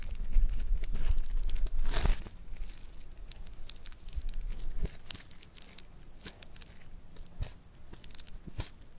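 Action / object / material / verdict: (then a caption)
scrape / foam bead clay lump / foam beads / none. A solid lump of yellow foam bead clay (floam) is pressed and pinched with fingertips on a marble surface, giving dense crackling and popping bead sounds with sharp bright clicks. The crackling is loudest in the first two seconds, then continues more softly with scattered snaps.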